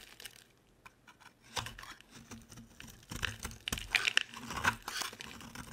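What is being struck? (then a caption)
Bar of soap. A utility knife blade scrapes and shaves curls off the edge of a solid, dry orange soap bar with small holes. The result is quiet, crisp, bright scraping and crunching in short, irregular strokes that grow denser and louder toward the end.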